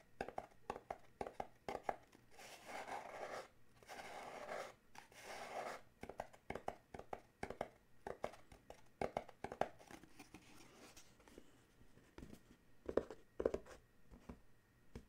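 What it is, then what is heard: Paperboard gift box. A small paperboard coffee mug gift box is held in the hands, then set on a towel while fingertips tap and scratch its panels. Quick, dry taps mix with longer papery scratching passes that have a bright, crinkly edge, and the taps ring out almost instantly.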